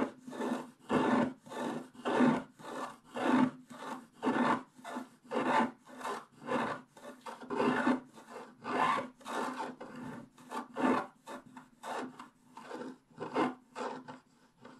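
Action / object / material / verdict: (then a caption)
scrape / coated scratch-art paper scraped with a wooden stylus / coated paper / none. A wooden stylus scratches the black coating of a flat, coated scratch-art paper page around the unicorn. About two dozen separate rasping strokes follow one another in a loose, uneven rhythm, each a soft, dry scrape with a faint hum near 250 Hz and brighter hiss above. Each stroke stops almost at once, with short silent gaps between them.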